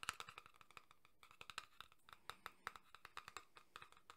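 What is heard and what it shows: A small printed cardboard tuck box for a Red Dead Redemption 2 card deck, apparently full of cards, is held in one hand. The fingertips and nails of the other hand tap it rapidly. The result is a quick, irregular run of about 27 short, dry clicks with a bright, papery tone and almost no ring.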